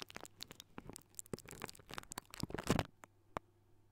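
Fingertips of both hands scratch and rub a hollow silver wire-mesh metal microphone grille, making a quiet run of dry, crackly scratches and short sharp ticks over a steady low hum. The rubbing thickens into a louder, denser burst near the end, then thins to a few sparse taps.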